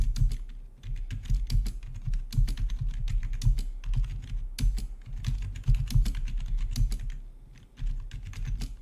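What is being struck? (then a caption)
Plastic keyboard. Fingertips of both hands type on the keycaps of a full-size black plastic gaming keyboard with rainbow backlit keys, resting on a marble-look desk. A steady run of quick, dense clicks and clacks is heard, with deep thumps under each keystroke and bright tick edges. The typing continues throughout with brief lulls.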